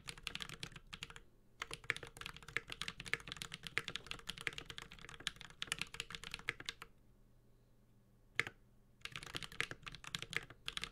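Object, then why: Mechanical keyboard with plastic keycaps in a metal case. A Space65 Cybervoyager, a 65% mechanical keyboard with a metal case, Holy Panda switches and ABS plastic keycaps, is typed on continuously with the fingertips of both hands. Bright, short clacks come in fast bursts, with a brief pause near the start and a longer lull broken by a single keystroke before typing resumes.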